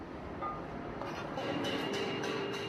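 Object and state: Nothing is struck.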